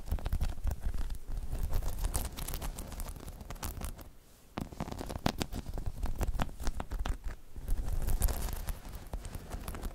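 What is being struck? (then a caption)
Hollow spiky rubber balance dome. Long chrome nails on both hands scratch across a hollow, dome-shaped spiky rubber balance pod. The result is a dense, continuous rustle of short scratches and taps with a heavy, low, muffled body and sharp bright ticks on top. It briefly quiets near the middle before picking back up.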